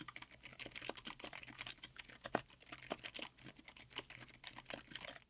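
A 60% mechanical keyboard with Outemu Silent Yellow Jade silent tactile switches (an upgraded Outemu Cream Yellow), black SA-profile double-shot ABS keycaps and a white aluminum case is typed on quickly with the fingertips of both hands. It makes a fast, continuous stream of soft, muted, short clacks with little low end and no ring.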